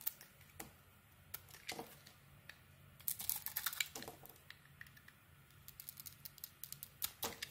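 A metal blade scrapes and shaves curls off the edges of a solid white bar of soap held in the hand. The result is a quiet series of crisp, bright scratches and clicks, coming in scattered clusters over a faint low hum.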